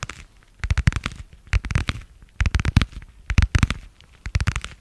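Long nails tap and scratch a translucent marbled plastic passport cover with a stitched edge. The result is quick clusters of sharp, dry clicks and crackles with a deep thumpy body and very short ring, separated by brief quiet gaps.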